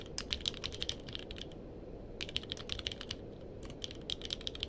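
Fingertips of both hands type on a purple-cased mechanical keyboard with plastic keycaps. Quick bursts of sharp, bright clicks come in runs, separated by two short pauses, over a steady low background rumble.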